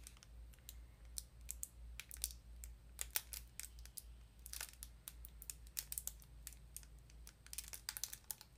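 A small printed cardboard sardine box, likely with a tin inside, is handled and tapped with long nails. It gives a quick, uneven run of sharp, bright clicks and light crinkles over a steady low hum. Each tap dies away almost instantly at a quiet overall level.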